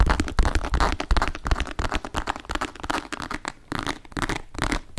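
A hollow, medium grey embossed leather shoulder bag with leopard-print calf-hair panels, a strap and a metal ring is held up and tapped and scratched with long nails. Quick, irregular dull taps and crackly scratching rustles follow one another with little ring, weighted toward a low thump.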